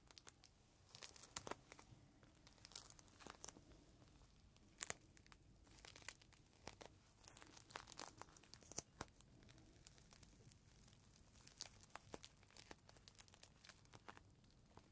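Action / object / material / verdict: scrape / thin plastic zip bag holding a soft cloth / plastic / none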